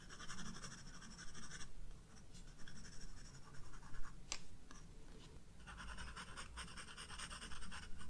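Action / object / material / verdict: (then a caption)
scrape / graphite pencil on sketchbook paper / paper / none. A graphite pencil makes repeated sketching strokes on flowers drawn on a white paper page of a spiral-bound sketchbook. Quiet, scratchy strokes carry a bright, grainy hiss that is strongest at the start and again near the end, over a steady low rumble, with one sharper tick around the middle.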